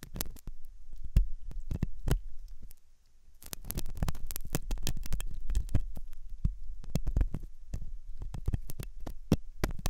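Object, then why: Silicone ear model with metal pick. A metal dental pick scrapes inside the hollow ear canal of a white soft silicone ear on a binaural microphone. This produces a dense run of close, muffled scratches and deep thumping bursts, heavy in low rumble around 60 Hz with brief bright clicks. The scraping eases briefly around three seconds, then picks up again.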